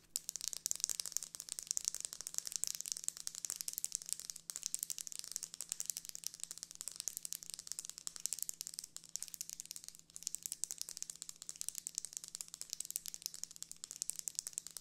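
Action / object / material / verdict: tap / closed folding hand fan with plastic ribs and paper leaf / plastic / none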